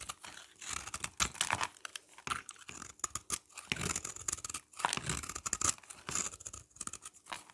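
A hand-held oval bar of solid dry soap, with a red coating over a yellow interior, is scraped and cut with a utility knife blade, producing crumbly shavings. The result is a close, dense series of dry, bright crunching and scraping crackles in uneven bursts, with very little low end.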